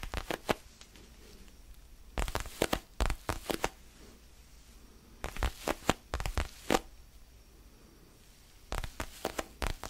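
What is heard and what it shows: Fingertips scratch and rub a small, solid orange foam basketball stress ball held in the hands. The sound comes in four bursts of quick, dry, crackly scratches that reach up into the high range. Quiet pauses with a faint low hum fall between the bursts.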